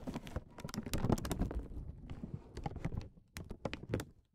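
A single small, round, solid, iridescent clear acrylic plastic bead resting on a felt mat is tapped and nudged with short fingernails and fingertips. The result is a rapid series of soft, dull, very short clicks and taps, weighted low with only faint bright edges, with brief pauses and a quieter stretch near the end.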